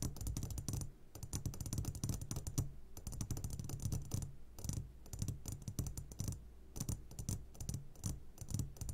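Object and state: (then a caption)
Glass candy jar. A medium glass jar, upside down and full of sugared gummy candies, is tapped on its sides with the short fingertips of both hands. The result is a rapid, continuous stream of light, dry taps with a low, dull body and bright clicky edges. There is almost no ring, and the tapping pauses briefly now and then.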